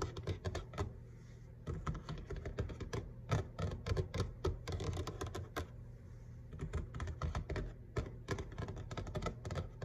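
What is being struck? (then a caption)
Laminate kitchen countertop. Fingertips and short nails tap rapidly and irregularly on a flat grey kitchen counter, likely laminate over a solid base. The taps are dense and dull, with a low body and quick decay, and the nails add faint bright clicks.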